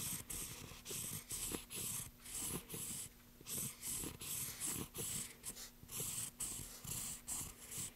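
A pencil tip scratches and draws strokes across the surface of a solid, pale wooden plank while the other hand steadies the board. The clip is a run of short, dry scratching strokes, each with a bright, hissy top and a soft, low rubbing body, separated by brief quiet gaps.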